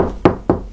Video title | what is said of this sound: Fixation murs creux | sonne creux creux donc nous avons bien un mur en PL au style